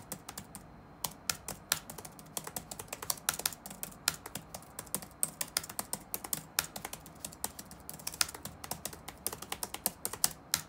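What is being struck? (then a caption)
Plastic laptop keyboard keys. Fingertips type rapidly on the black plastic keys of an open laptop resting on a wooden desk. A dense run of short, bright clicks ticks on without a break, each one dying away almost at once, with little low-end weight.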